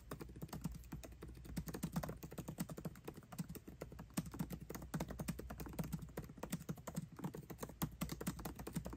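Both hands type fast with their fingertips on a 13-inch aluminium MacBook Pro with backlit black plastic keycaps, tapping the keys continuously. The result is a dense, steady stream of quiet, soft, low clicks with very short decay, over a faint low hum.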